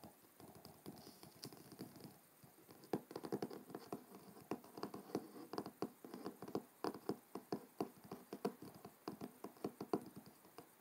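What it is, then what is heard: Cloth-covered hardcover book. Fingertips of both hands tap rapidly on the front cover of a large, thick, solid hardcover book with a dark blue cloth cover, lying closed on a wooden table. The taps are quick, soft and dull, with a short mid-range thud and almost no ring. They run as an uneven patter that starts faint and grows more distinct after about three seconds.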